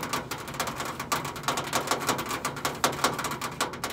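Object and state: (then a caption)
Stainless steel microwave side panel. Long acrylic nails tap rapidly near the top edge of a countertop microwave's side panel, a thin stainless steel sheet over a hollow body. The result is a quick, irregular patter of bright, clicky metallic taps with a slight tinny ring around 1.4 kHz that dies away almost at once.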